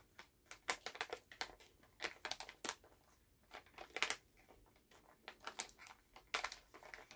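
A full Halls plastic cough drop pouch is held in both hands while fingertips tap and crinkle the bag. Quick, bright plastic crinkles and crackles come in irregular bursts, each cutting off sharply with almost no ring. The sound is quiet overall, with a faint low hum underneath.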